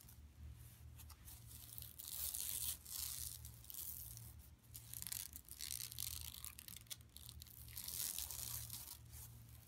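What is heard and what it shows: Long nails and fingertips of both hands scratch and rub a large, flat, empty yellow woven plastic mesh tote lying on carpet. The result is a bright, dry rasping and crinkling that swells and fades in waves, over a steady low hum.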